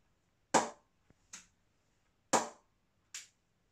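A willow M&H 2.9 cricket bat from 2020 is tapped in a ping test to judge its rebound and response. Four sharp, distinct hits come in two pairs: each pair is a loud, full-bodied crack followed by a softer, brighter tick, and every hit dies away quickly.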